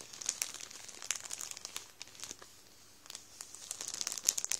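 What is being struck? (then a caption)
Plastic bread bag. A hand rubs and presses the surface of a full Warburtons plastic bread roll bag with its fingertips, crinkling the plastic. The result is a run of bright, dry crackles and crinkles with almost no low end, a quieter stretch in the middle, and a denser, louder burst of crinkling toward the end.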